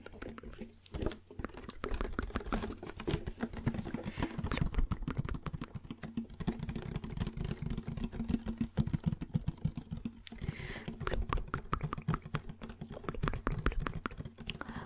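A large, empty, blue translucent plastic gallon water jug with Scitec Nutrition branding is tapped and patted with fingertips and nails while held close. Rapid, dense, hollow taps with a deep, boomy low body and quick decay run continuously throughout, soft and close.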